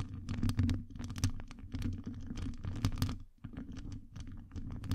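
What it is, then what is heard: Metal mesh microphone grille scratched. Long acrylic nails rapidly scratch and tap a hollow metal wire-mesh microphone grille. Dense, crisp clicks and scraping ticks sit over a heavy, boomy low rumble, with a brief lull a little past the three-second mark.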